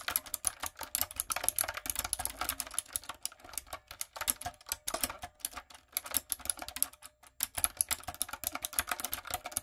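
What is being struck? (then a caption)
Plastic mechanical keyboard. Fingertips and long acrylic nails type rapidly on a light-up, typewriter-style mechanical keyboard with round plastic keycaps. The result is a steady stream of crisp, bright clicks and clacks that die away instantly, with very little low end. The typing stays dense throughout, thinning out briefly during short pauses.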